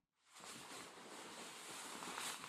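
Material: Nothing is struck.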